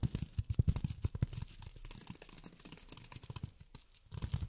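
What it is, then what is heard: Polyethylene foam. Polyethylene foam is tapped with long fingernails, giving quick, irregular taps with soft, dull, low thumps and faint bright clicks. The tapping is busiest at the start, thins into a quieter, scratchier stretch in the middle, then picks up again at the end, with each tap dying away almost at once.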